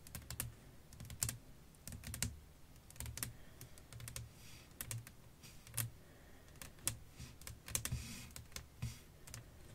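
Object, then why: Flat glass pane. Long nails tap a flat, clear glass sheet lying over lace fabric, giving quick, bright clicks with a low thump under some of them. The taps come in irregular bursts with short pauses and die away almost at once, sounding much like typing on a keyboard.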